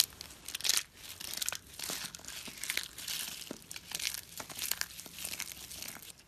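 Two hands press, rub and crush a pile of small, solid, pale-yellow dry soap flakes between thumbs and fingertips on a rubber mat. It makes dense, bright, crisp crunching and crinkling in overlapping bursts with a few sharp snaps, with almost no low end. The flakes break up with a steady dry crackle.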